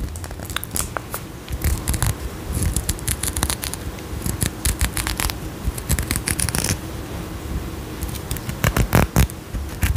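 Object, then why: Faceted glass perfume bottle. Long nails scratch and tap a faceted glass perfume bottle with a gold cap close to a microphone. Quick, bright scratching strokes and clicky taps come in uneven bursts over a low, steady rumble, with the loudest cluster of taps near the end.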